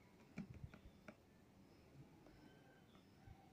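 A box with a soft sponge inside is shaken, and it makes almost no sound because the sponge is soft. Only a few faint, dull knocks are heard near the start, then near-silence.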